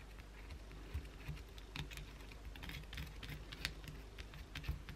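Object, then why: Bar of soap. Long blue acrylic nails aggressively scratch the edge and side of a solid white bar of soap held in the hand. The result is a quiet, rapid run of dry, bright scratching clicks and ticks over a low rumble.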